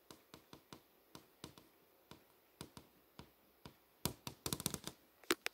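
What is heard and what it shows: Long nails tap and trace over the surface of a solid LCD monitor screen displaying text. Light, crisp, bright clicks come at uneven intervals at first, then turn louder and denser in a quick cluster toward the end. Each tap is short and dry with almost no ring.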